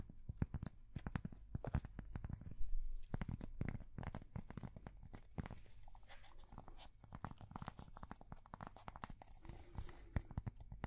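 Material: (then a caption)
Cork. A thin, flat, square solid cork coaster is held up close to the microphones and tapped and scratched with long painted fingernails. Quick, dull taps and scratchy rubs come thick and fast, with a soft low thud to each one and almost no brightness. The sound stays quiet and dry throughout, with no ring after each tap.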